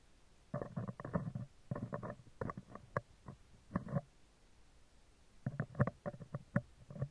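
Metal tweezer tips repeatedly tap and scratch the right side of a hollow spherical steel mesh microphone grille. Bursts of soft, close scraping and sharp little ticks come in clusters with quiet pauses between, mostly low and muffled with a few brighter clicks.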